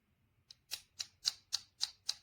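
Seven light taps on the black plastic back plate of a PGYTECH Beetle Camera Clip V2 give short, dry, high-pitched clicks with almost no ring, sounding plasticky next to its bluish-green anodized aluminum body. The plate is plastic, which lets it flex for better tension on the strap the clip is mounted on.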